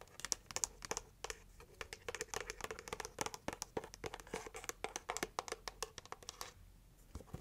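A red heart-shaped cardboard gift box is turned in the hands while long nails scratch and tap its plain side and printed lid. Quick, dry, bright clicks come in an irregular stream over soft scratchy rustling, with a brief lull near the end before a few final taps.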